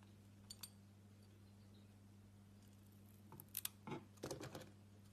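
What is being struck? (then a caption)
Solid bar of soap cut with a knife blade. A solid cream-coloured soap block, the interior of a glitter-coated bar, is held in the hand and sliced into slabs with a utility knife blade. Two faint ticks come early, then after a quiet pause a cluster of crisp, bright scraping cuts and crumbly crackles sounds near the end, all over a steady low hum.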